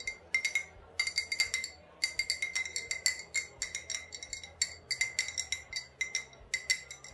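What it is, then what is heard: Glass liquor bottle. An old glass bottle with a faded sticker, holding either vodka or rubbing alcohol, is tapped and clinked in quick bursts. Its bright, short glassy pings ring near 2 kHz, with brighter overtones above, and fade almost at once between taps.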